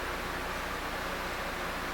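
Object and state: Nothing is struck.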